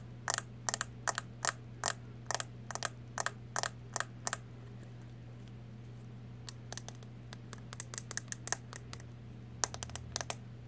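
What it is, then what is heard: Plastic powder compact. A closed, small round brown plastic makeup powder compact is tapped with long nails. About 32 sharp, bright clicks come in quick bursts through the first four seconds, pause, then resume more irregularly, each dying away almost instantly. A steady low hum runs underneath.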